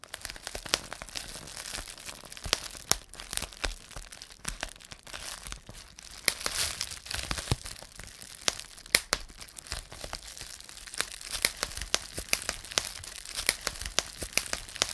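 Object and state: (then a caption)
Plastic bubble wrap being popped. A rolled strip of clear plastic bubble wrap is gripped in both fists and twisted, popping and crinkling the air-filled bubbles. Irregular sharp, bright pops snap out over a steady dry crackle of crinkling plastic, each pop cutting off almost instantly, with little low end throughout.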